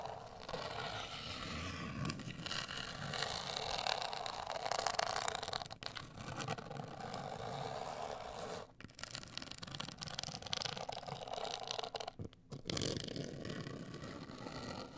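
Long acrylic nails scratch and tap a closed, hollow, medium-sized black printed rigid cardboard cosmetic box. The result is a steady, dry, rasping scrape with a bright papery hiss and a hollow body tone, broken by brief quiet pauses near 6, 9 and 12 seconds before the scratching resumes.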